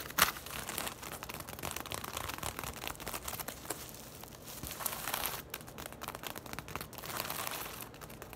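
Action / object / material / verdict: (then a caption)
scrape / woven straw tote bag / straw / none. A braided woven straw tote bag lies on its side while long nails scratch and tap quickly across the straw weave. The result is a dense, dry, crinkly rustle with bright scratchy texture and short, quickly fading taps, opening with one sharper tap.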